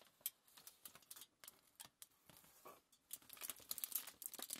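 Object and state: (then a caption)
Crumpled aluminium foil sheet. A crumpled sheet of thin aluminium foil is held and lifted by hand while the fingers crinkle and tap it. It makes quiet, bright, crackly bursts with almost no low end, each dying away almost instantly. The crinkling comes in scattered bursts and grows busier toward the end.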